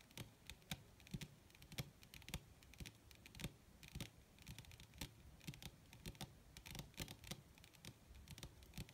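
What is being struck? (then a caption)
Leather sheet. Long red nails on both hands rapidly tap and scratch across a flat, wrinkled black leather sheet, possibly faux. Quick, sharp clicks with bright high edges fall over a soft, low, papery rustle, in an irregular stream of many taps for about nine seconds.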